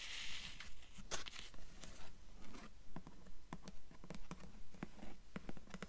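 Long nails rub and scratch across a dark hardcover book cover and spine. Quiet, dry scratching strokes repeat at a steady, fairly regular pace, each a short bright rasp over a low, soft background rumble.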